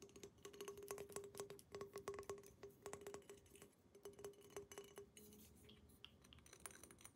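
A tall, hollow, empty clear glass water pipe with colourful decals and an orange mouthpiece is held in the hands and tapped rapidly with long painted nails by a woman wearing rings. The fast, light clicks carry a short glassy ring around 400 Hz with bright tick edges. The taps thin out and soften toward the end.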